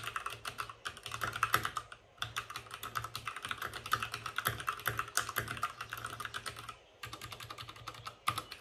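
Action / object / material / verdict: tap / plastic mechanical keyboard with plastic keycaps / plastic / none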